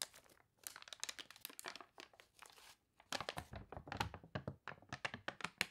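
Fingernails rub and scratch the wavy pages of a water-warped paper toy catalog, then a page is lifted and turned. Dense, bright, crinkly scratches and crunches come in quick bursts, with a brief quiet gap before a louder stretch of page handling.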